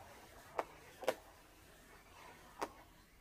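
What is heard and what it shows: A small, hollow, air-filled blue latex balloon, held in the hands, is tapped with long orange-painted nails. Three short, quiet taps land at uneven intervals, each a dry midrange click centered around 500 Hz to 1 kHz that dies away almost instantly over a faint background hiss.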